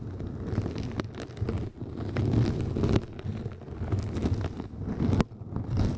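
Long nails scratch both sides of a round yellow kitchen sponge with a soft, flexible synthetic mesh surface, draped over the top of a microphone. The result is a steady, muffled, low rustling scrape with occasional sharper ticks, swelling and fading in uneven strokes.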